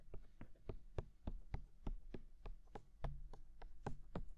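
A fingertip taps on the silicone ears of a binaural microphone, making about fifteen soft, dull thumps in a loose, uneven rhythm. Each tap is a short, low, muffled knock that dies away almost at once, over a faint steady hum.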